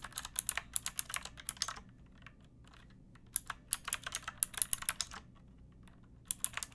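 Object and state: Plastic mechanical keyboard.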